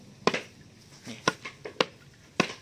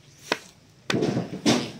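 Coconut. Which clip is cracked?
The first.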